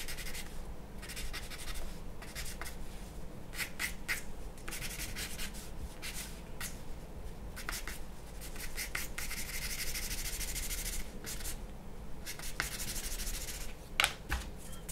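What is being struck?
Charcoal pencil on a paper sheet.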